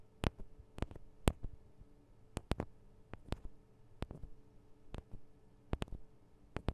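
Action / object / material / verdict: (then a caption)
tap / small metal microphone capsules on a handheld recorder / metal / none. Long acrylic nails of both hands tap the small hollow metal microphone capsules on a Tascam DR-40 recorder, giving fourteen sharp, dry clicks at an irregular pace. Each tap is brief and bright with almost no ring, over a quiet low hum.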